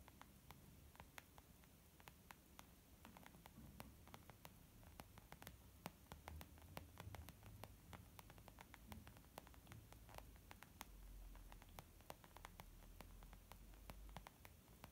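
Long nails of both hands tap rapidly on a small white textured leather zip makeup bag lying flat, soft and hollow. Dozens of quick, dry, bright clicks with almost no ring patter unevenly across the clip over a steady low hum and faint static hiss.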